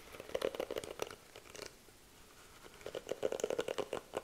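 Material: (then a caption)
Plastic. Fingertips and long nails brush and scratch over the bristles of a pink plastic-bristle detangling hairbrush held close to the mic. Quick bursts of crisp, bright clicking and raspy scratching carry a mid tone, fade to a soft near-quiet hiss in the middle, then return in a denser flurry.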